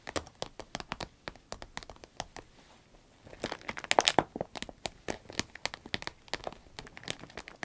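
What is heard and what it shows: Long red nails tap and scratch along the top of a small, hollow, empty cylindrical green vinyl pencil case with a zipper. A rapid run of sharp, dry, crinkly taps and scrapes with bright highs fills the clip. The sound swells into a louder, denser burst in the middle before settling back to steady light tapping.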